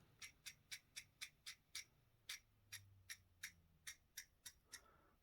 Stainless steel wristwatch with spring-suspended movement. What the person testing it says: when you tap it it rattles and that is because of the four springs